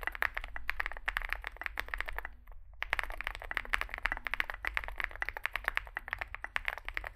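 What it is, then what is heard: Mechanical keyboard with plastic keycaps. Fingertips type continuously on a small 65% Zoom65 mechanical keyboard with a dark case and white and grey plastic keycaps. Rapid, bright, clacky keystrokes centered around 1.8 kHz pause briefly near the middle before resuming. A steady low hum sits underneath.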